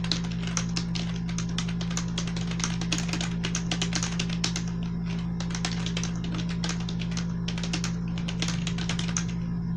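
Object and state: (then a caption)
Plastic membrane computer keyboard. A full-size black plastic gaming keyboard with blue accents and membrane keys, lying on a white textured sheet, is typed on rapidly by both hands using fingertips and medium-length nails. Quick, soft plastic clicks and taps with bright edges run continuously over a steady low hum.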